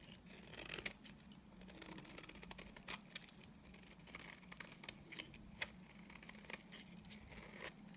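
A utility knife blade scrapes the surface of a solid, dry beige bar of soap into curls. The result is a quiet, bright, crackly scraping made of many short, sharp ticks and brief crisp bursts over a faint steady low hum.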